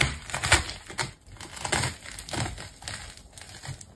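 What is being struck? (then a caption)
Plastic tape ball. The same green and rainbow layered plastic tape ball is cut deeper with a craft knife and pulled open by hand. Dense crinkling and tearing sounds come in irregular bursts, with bright, crackly highs and soft low thumps. The sharpest burst comes early, and the rest fade and return unevenly.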